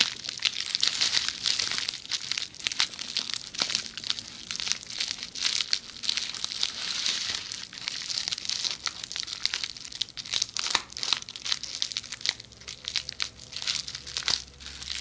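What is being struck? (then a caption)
Plastic bubble wrap roll. A rolled tube of red plastic bubble wrap is held next to the microphone's ear while long nails scratch and squeeze the bubbles. Dense, bright crinkling and crackling runs throughout, with rapid sharp clicks and pops that die away almost instantly and little low-end body.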